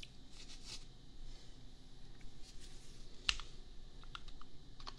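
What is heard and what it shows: A $250 custom compact mechanical keyboard with Gateron Milky Yellow switches and red/pink plastic keycaps is typed on with fingertips, first with one hand and then with both. The result is a steady run of quiet, bright, short clacks, one slightly sharper than the rest, over a low, soft background rumble.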